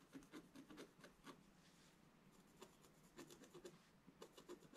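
A wooden stylus scratches lines into the lower area of a flat, black-coated scratch art sheet. It makes a series of short, dry rasping strokes with bright, gritty edges over a faint hiss. A quieter stretch in the middle is followed by another run of quick scratches.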